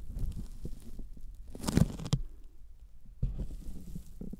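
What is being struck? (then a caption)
Thin polyethylene foam sheet. Sticky fingertips tap a thin white closed-cell polyethylene foam sheet held by hand just above the microphones. Soft, low, dull thumps sound with faint tacky crackles. A few louder taps stand out near the middle with a brief bright, papery edge, and the sound stops without ringing.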